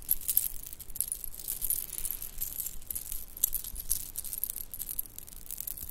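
A shell-chip bracelet with white beads and silver spacers is handled with both hands, the nails and fingertips shaking and jingling the pieces. A steady run of small, bright, dry clicks and rattles follows, with short rustling bursts and quick tinkling contacts that die away instantly.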